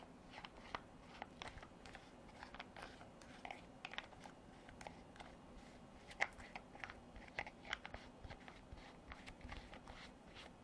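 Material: Hard plastic.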